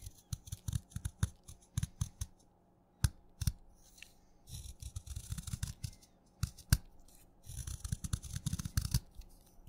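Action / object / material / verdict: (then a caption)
scrape / chalk stick shaved with a blade / chalk / none. A craft knife shaves thin layered curls off the side of a solid wet purple chalk stick held between the fingers. Quiet, crisp scraping cuts come in a long uneven series, some isolated and some bunched into rapid clusters. Each cut is a dull, low-weighted scrape with a brief bright edge that dies away almost instantly.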